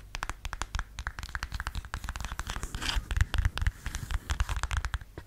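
Fingernails scratch the thin heel and the footbed of a beige faux suede stiletto sandal held upright. The result is a quick, uneven run of many short, dry scratches and taps, each with a dull low thump and a crisp, bright edge. Midway, a longer rasping scrape swells before the rapid scratching picks up again.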